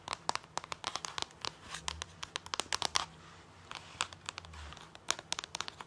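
Fingernails and fingertips tap and scratch colorful plastic DVD discs through the clear plastic sleeves of a binder page. Dozens of sharp, bright clicks and crinkly plastic ticks come in quick irregular bursts, each dying away instantly. Softer scraping stretches with a faint low hum fill the gaps between them.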